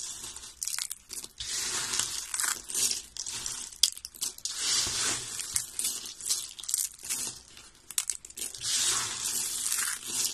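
A heap of solid, brown, dry soap flakes is scooped up and crushed in both hands with the fingertips. Dry, bright crunching and crinkling comes in rapid, overlapping bursts across the clip, with almost no low end.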